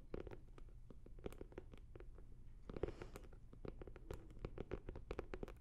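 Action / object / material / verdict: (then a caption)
tap / hard-shell fabric-covered zip case / fabric, hard shell / none. A blue starry hard-shell fabric zippered case, hollow and closed, is held beside the microphone and tapped and scratched with long nails and fingertips. Quick, dry clicks and taps come in an uneven stream over soft scratching, with a hollow low body around 390 Hz. The sound stays quiet and close, with no ring after each tap.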